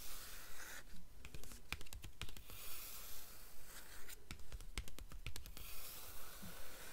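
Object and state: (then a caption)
Cloth-covered hardcover book board. Long nails tap rapidly on the olive-green, cloth-covered cardboard front board of a hardcover book, which is held open with its jacket removed. Quick, dry clicks come in steady, regular bursts over a soft, bright hiss, each tap dying away almost instantly.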